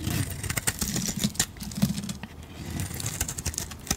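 A metal blade shaves curls off the edge of a solid yellow bar of soap, then the bar is handled. Quick, crisp scraping ticks with bright edges sit over a steady low thrum.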